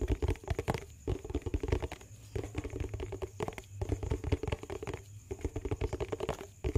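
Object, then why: Small plastic tub with lid. Fingertips and nails tap and scratch the lid and sides of a small, hollow, round yellow plastic Sparkle dishwash bar tub, held in the hands close to the mic. Quick, hollow, low-heavy taps come in dense bursts mixed with soft scratching, broken by brief pauses.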